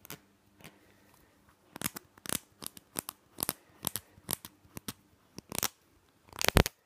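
Fingernails tap and scratch the cap and green label of a small, hollow plastic nasal spray bottle, making a rapid series of short, crisp clicks and scratchy bursts with bright, hissy tops. The bursts come in quick clusters over a quiet background, ending with a louder, denser scratch.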